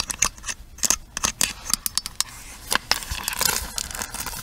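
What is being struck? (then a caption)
Plastic paddle hairbrush. Long nails tap the hollow plastic handle of a pink plastic paddle hairbrush, then move to the side rim of the brush head. The result is a quick series of sharp, bright clicks with almost no low end and very short ring, turning into denser, scratchier tapping toward the end.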